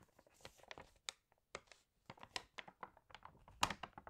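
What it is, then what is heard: Glossy paper magazine. Fingertips rub the pages of an open glossy home magazine and turn its wavy, water-damaged pages. The result is a series of short, crisp crinkles and papery rustles with bright edges, separated by near-silent gaps.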